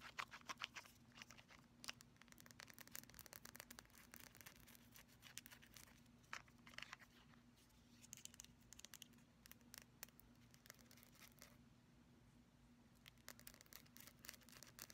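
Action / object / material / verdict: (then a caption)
tap / small glass nail polish bottle with plastic cap / glass / none. Long pastel nails tap and scratch the glass body and black plastic cap of a small, full-looking mauve glass nail polish bottle with a printed label. The quiet, bright clicks and scratchy rubbing come in fast, irregular bursts, with a faint steady low hum underneath.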